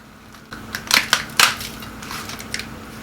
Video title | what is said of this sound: Buñuelos How to make Crispy Holiday Buñuelos Pastry Recipe ~ Cómo Hacer Buñuelos Crujientes | I just want you to see how crispy these buñuelos come out.